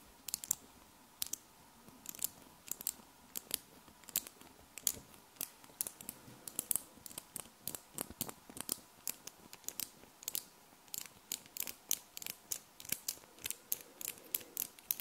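A flat strip of small solid metal magnet balls is held in both hands while fingertips and long nails press and snap the balls together. Dozens of sharp, bright clicks ring out at an irregular pace over a quiet background. Each snap dies away almost instantly, with almost no low end.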